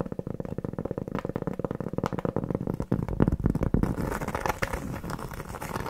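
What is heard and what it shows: Long nails scratch and tap quickly on a large, round, flat, solid cork board trivet held in the hand. The result is a dull, low, crackly patter of rapid, uneven taps. About two-thirds of the way through it thickens into a denser, brighter, more continuous scratching.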